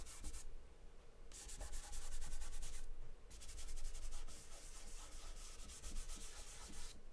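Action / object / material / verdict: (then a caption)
scrape / paper drawing sheet with charcoal / paper / none. Fingertips rub and smear charcoal across a large white paper sheet taped flat on a table. Dry, scratchy rubbing strokes come in bursts of bright hiss, with brief quieter pauses between them over a steady low rumble.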